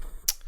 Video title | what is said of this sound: E82: Snacktacular 2019 | you hear that good sound of me knocking on wood